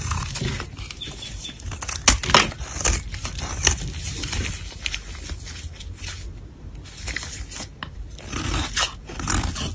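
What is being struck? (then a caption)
Bar of soap. A black blade scrapes and shaves powdery flakes from a smooth, solid white-cream soap bar held in gloved hands. The result is a run of dry, crunchy, bright scraping strokes at an irregular pace, with a low rumble underneath. The strokes are loudest around two seconds, quieter through the middle, and pick up again near the end.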